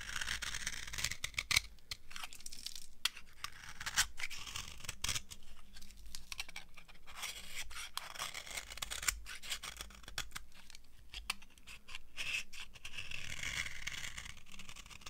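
A small, solid, dry cream-coloured soap bar held in the palm is carved and scraped with a metal knife blade, and crunchy shavings fall away. Dense, crisp scraping and crackling runs throughout, bright and hissy in the highs, with many sharp little snaps and almost no ring after each cut.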